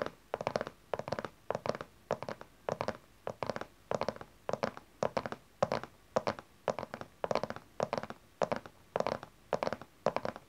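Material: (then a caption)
Cardboard. Long nails tap on the side panel of a small, dark cardboard tarot card deck box that rests on its side. The taps come in quick, rhythmic bursts of light, dry clicks with a hollow midrange tone and almost no ring or low end.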